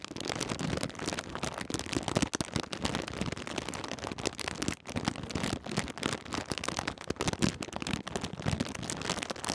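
A partly full Twiglets snack bag made of crinkly plastic foil is held in both hands and crinkled and squeezed with the fingers. It gives a dense, continuous crackling rustle with sharp bright snaps and a low papery body throughout.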